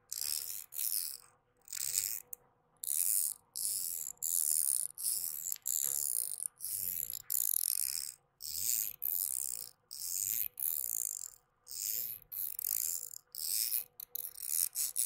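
A thin metal link chain from a necklace with a small leaf pendant is held taut between the fingertips of both hands right in front of the microphone and rubbed and pulled. The links click and scrape in bright, crisp bursts separated by short silences, with almost nothing in the low end.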